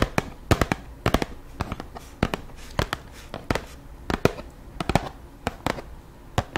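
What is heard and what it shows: A hollow, medium-sized white Aveeno cardboard packaging box is held beside a microphone and tapped with long pink acrylic nails. Quick, irregular taps, some in tight clusters, make sharp, dry clicks with a low papery thump. Each tap dies away almost instantly.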